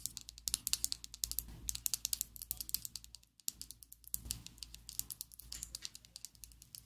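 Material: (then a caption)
Plastic. A slim pink and black plastic Essence liquid lipstick tube, held above a table, is tapped rapidly with long acrylic nails. Dozens of quick, bright plastic clicks follow in an uneven stream, with a brief pause just past the midpoint. Each click dies away almost at once over a faint low hum.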